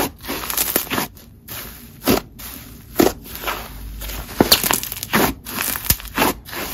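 Fingertips squeeze, fold and pull a single solid mass of yellow, textured, crunchy honeycomb slime on a marble surface. A string of sharp, bright crinkling and crackling pops stands out over a soft, continuous rustle, each pop dying away almost instantly.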